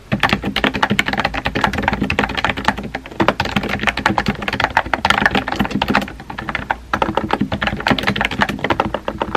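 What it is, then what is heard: Plastic mechanical keyboard. Fingertips with painted nails type rapidly on a compact pink plastic mechanical keyboard with a hollow body and round white-and-pink typewriter-style keycaps, resting on a desk. A dense, steady stream of short, clicky, clacky key taps runs throughout, with a brief pause just before the seventh second.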